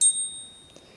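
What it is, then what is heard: Genuine silver coin. A genuine American Silver Eagle coin is struck once with another silver coin used as a ring tester. It gives a single bright, high-pitched ring whose steady tones fade quickly but linger faintly to the end, the distinctive ring of real silver.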